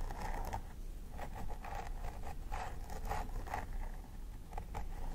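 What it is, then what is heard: Plastic doll head with synthetic hair. A thin wooden stick scratches and picks along the scalp parting of a plastic doll head with synthetic hair, while the fingertips and nails of the other hand press and part the hair. Short, crisp scratching strokes repeat over a steady low rumble, each with a dry midrange rasp and a brief bright edge.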